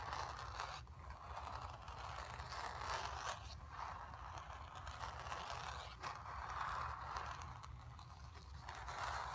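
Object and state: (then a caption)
Fingernails scratching painted canvas. Long nails scratch across the surface of a painted, stretched canvas, producing a steady dry scraping hiss centered around 1 kHz with bright edges. The strokes swell and fade in repeated back-and-forth passes over a faint low rumble, with no speech.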